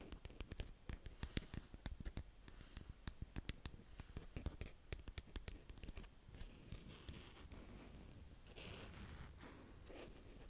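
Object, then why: Kinetic sand with a small plastic rake. A small green plastic rake, held by fingers with painted nails, digs into and scratches a brown kinetic sand mound in close-up. A rapid run of sharp, crisp ticks and scratches is heard for about six seconds, then it gives way to softer, continuous scraping and brushing with bright, airy hiss.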